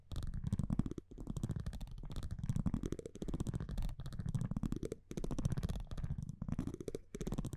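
A metal tweezer-like tool scratches across the printed front of a thin cardboard baseball trading card held in one hand. The result is a dry, rapid, ratcheting scrape in repeated strokes with brief pauses between them, heavy in low-end rumble and with no lingering ring.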